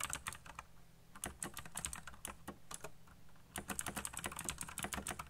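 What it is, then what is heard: Plastic mechanical keyboard. Fingertips type fast on a backlit plastic mechanical keyboard with black plastic keycaps, producing rapid, bright clicks with short, dry decays. A steady burst of keystrokes slows briefly in the middle, then picks back up into another dense flurry.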